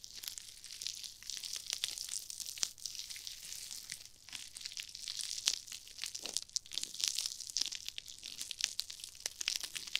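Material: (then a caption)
Nylon mesh. Long-nailed fingers squeeze and scrunch small, foam-filled, pink and red glittery nylon-mesh scrub sponges close to a binaural ear microphone. The result is a dense, continuous stream of bright, crisp crinkling and crunching with many quick rustling bursts, almost no low end, and no words spoken.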